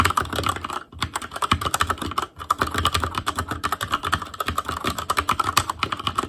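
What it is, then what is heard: Mechanical keyboard typing. Fingertips of both hands type continuously on an ASUS ROG Claymore Core mechanical keyboard with Cherry MX Red switches, black plastic keycaps on a metal frame, and a hollow housing with RGB backlight. A rapid, uneven stream of short, clacky taps carries a bright midrange tone near 1.2 kHz and dies away almost instantly. Brief pauses break the typing just before 1 second and around 2.3 seconds.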